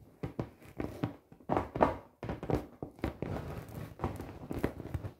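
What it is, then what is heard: Inflated vinyl beach ball. Long painted nails and fingertips tap and knock on the taut surface of a large, fully inflated, hollow 48-inch clear PVC beach ball with colored dots. The result is an irregular series of soft, hollow thumps and sharp nail clicks, each dying away quickly, with faint crinkling of the vinyl between them.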